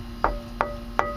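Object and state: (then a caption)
Bus wall panel with solid frame backing. Three knocks on a bus wall panel where it sits over a heavy steel frame member give short, solid thuds with a brief ring near 590 Hz. The sound is solid compared with the hollow thin side, confirming the frame member's backing.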